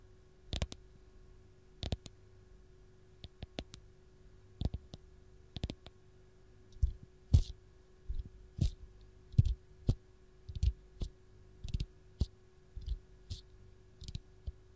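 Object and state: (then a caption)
Fresh lemon tapped and scratched with fingernails. Long gold nails tap, scratch and grip the textured peel of a single whole raw lemon held in the hand. Quiet, sharp clicks and brief scratches come in an irregular pattern, sparse at first and then more frequent. Each hit has a bright edge and dies away almost instantly over a faint steady hum.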